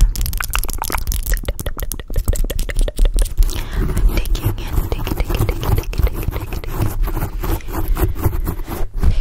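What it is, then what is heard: Foam microphone windscreen being scratched. Long blue acrylic nails rapidly scratch and grip a black foam microphone windscreen up close. The result is a dense stream of quick, crackling scrapes and crunches over a heavy, boomy low rumble, with little high-end content.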